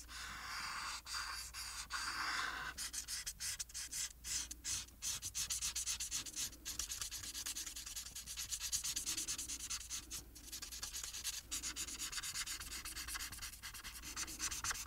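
A blue-capped felt marker colors a flat paper illustration sheet on a table, its tip rubbing across the paper in rapid, bright, scratchy strokes. A smoother continuous rub opens the clip before giving way to quick back-and-forth strokes over a faint steady low hum.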